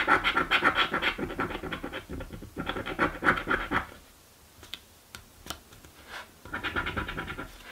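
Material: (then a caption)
Cardboard. A coin scratches the coating off a thin, flat cardboard crossword scratch-off lottery ticket resting on a wooden table. Quick, raspy back-and-forth strokes come in steady bursts, fade to a quiet pause with only a few faint scrapes, then start up again.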